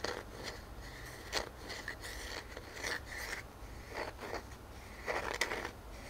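Fingernails scratch and rub the ringed face of a solid round wooden tree-trunk slice with growth rings, a knot and a bark edge, held in one hand. Dry, bright scratching comes in short bursts and longer strokes, with a faint whistling tone near 2 kHz, over a soft low background hum. The strokes stop dead with no ring afterward.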